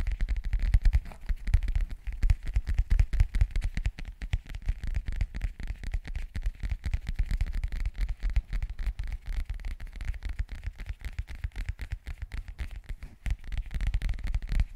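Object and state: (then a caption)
Hard-shell zip case scratched and tapped. A flat, hollow, phone-sized black zippered hard-shell case is held in both hands while fingertips and nails scratch and tap its textured surface. A dense, steady stream of quick, dry scratches and soft taps continues throughout, with hollow, low-heavy thuds and a faint crackly edge.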